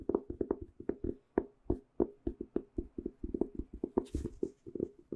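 A small, closed, white speckled hardcover journal with a cardboard cover is held in the hands and rapidly tapped with the fingernails on its cover and edges. Around 28 quick, dry, hollow taps land in an uneven rhythm, mostly in the low-mid range with almost no ring, broken by a brief airy swish near the end.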